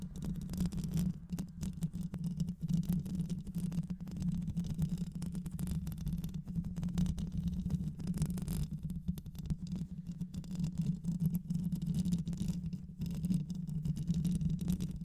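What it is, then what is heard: Microphone mesh grille being scratched. Long nails scratch the mesh grille of a black hollow microphone, with the grille likely metal, throughout the clip. The result is a dense, continuous rasping scrape dominated by a low, steady buzz around 184 Hz, with rapid rough flutters and almost no high-end sparkle.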